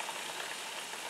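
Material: Nothing is struck.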